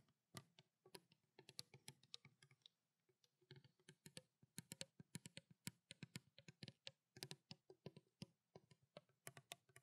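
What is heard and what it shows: Long black nails tap rapidly on the body and blue cap of a small clear plastic water bottle containing water. The result is a quick, uneven stream of short, dry clicks, bright on top with a soft low thump beneath, each fading almost instantly, with brief pauses between bursts.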